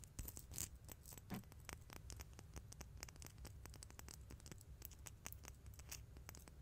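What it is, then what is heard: Metal coins. Two small, solid, silver-colored metal coins, one held in each hand in front of a microphone, are tapped and rubbed with fingertips and long nails, then clinked together. The result is a quiet, dense run of bright, dry clicks and scratchy rubbing with very short ring, over a low background rumble.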